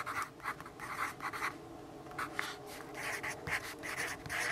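A yellow graphite pencil writes on a lined paper notepad resting on a wooden desk. It makes bursts of dry, bright scratching and rubbing strokes with short pauses between them, over a faint steady hum.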